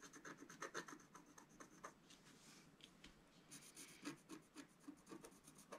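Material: Coated paper.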